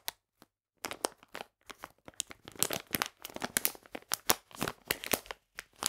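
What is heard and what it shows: A full, printed plastic bag of polenta is squeezed and crinkled in both hands. Two brief crackles are followed by a short pause, then a dense run of sharp, bright crinkling and crunching bursts that stop almost instantly with no ring.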